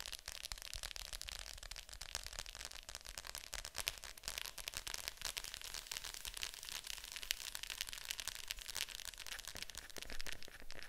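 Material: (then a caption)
Plastic. Long nails tap on the lid of a hollow plastic Fantasia VHS clamshell case lying flat. It makes a steady stream of quick, light, bright clicks with almost no ring, over a faint low hum.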